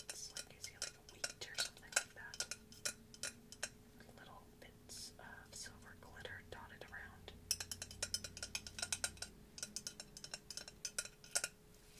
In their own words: CERAMIC MASK TAPPING ASMR